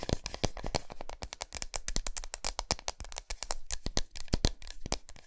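Long nails tap and scratch quickly across the flat, smooth back of a large solid milk chocolate bar resting on a towel. A dense run of short, dry taps with low thuds and bright clicking edges mixes with scratchy rasps, each stopping almost instantly.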